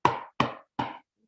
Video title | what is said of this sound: Session 2, Vedanta Treatise, Chapter - The States of Consciousness | if i tap on it my knuckles hurt